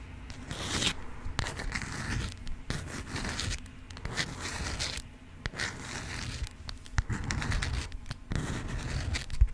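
A yellow honeycomb-print beeswax cotton food wrap is rubbed, scratched with long nails and crinkled. Bursts of crisp crinkling and scratchy rasping come and go, with bright hiss over a low rumble and brief pauses between passes.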